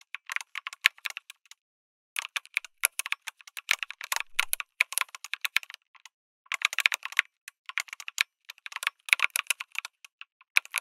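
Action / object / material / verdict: tap / mechanical keyboard, aluminium case with plastic keycaps / plastic, aluminium / none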